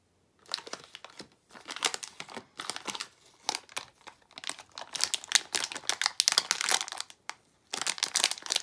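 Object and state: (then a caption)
Plastic foil bag being crinkled. A small plastic foil blind bag for Disney d-Licious Desert figures is picked up from a counter, then crinkled and pulled at the seal with fingertips and long nails. Bright, dry crinkling and crackling comes in dense bursts separated by brief pauses, with almost no low end.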